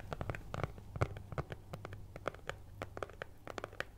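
A flat brown kraft cardboard cutout (possibly thin fibreboard), cut in the shape of a cat's head and held in front of the face with both hands, is scratched with long nails. A quick, uneven series of short, dry scratches and taps follows, each dying away almost at once, over a faint steady low hum.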